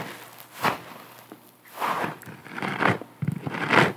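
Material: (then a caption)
Foam. A round, porous yellow sponge on a string is held in both hands while long nails scratch and squeeze it. Soft, crinkly scratching and crunching bursts swell and fade at an uneven pace, bright and airy over a quiet background.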